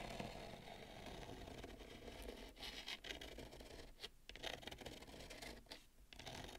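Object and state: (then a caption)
Bamboo plate. Long nails scratch and tap the rim of a wide, shallow bamboo serving plate, making a steady, quiet scraping texture with soft, bright ticks. Brief dips in the scratching break up the otherwise continuous sound.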